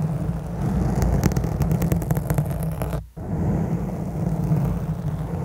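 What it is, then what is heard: Foam microphone windscreen being scratched. Several long black nails scratch intensely across the top of a round black foam microphone windscreen. The result is a dense, low, rumbling scrape with a steady crackling texture, broken by a brief sudden drop to near silence about three seconds in before the scratching resumes.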